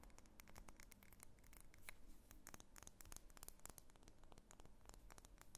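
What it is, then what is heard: Wax pillar candle tapped and scratched. Long fingernails rapidly tap and scratch a medium, solid, cylindrical pink wax pillar candle held in the hands. Quiet, dry, bright clicks and scratchy scrapes come in quick, uneven bursts over a steady low rumble.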